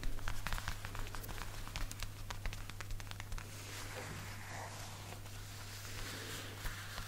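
Fingertips and short nails tap and pat quickly on the shoulder of a worn black (possibly faux) leather jacket. Crisp, dry clicks and soft thuds come in a fast, uneven patter, then ease into a softer, denser rustling for the second half. A steady low hum runs underneath throughout.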